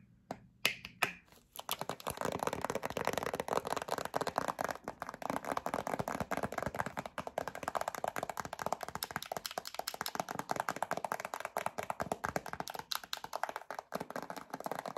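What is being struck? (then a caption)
Plastic squeeze tube with cap. A yellow plastic squeeze tube of hand cream with a black cap, held upright, is tapped on the cap and tube with long acrylic nails. After a few sparse clicks in the first two seconds, a steady flurry of rapid, light, bright plastic taps continues with very short decay.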